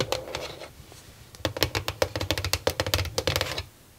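Long nails tap rapidly on the top and sides of a small, hollow white plastic mini drawer organizer with nine clear plastic drawers, sitting on a desk. Soft clicks open the clip, then after a brief lull a dense burst of about seventeen sharp, bright plastic taps follows, each with a hollow low thump and a short ring near 500 Hz. The taps stop abruptly, leaving near silence.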